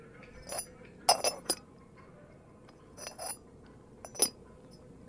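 The lid of a first Yixing clay teapot is tapped, giving short, bright ceramic clinks that die away almost instantly. Several taps come in small clusters over a few seconds. The lid is rated an eight.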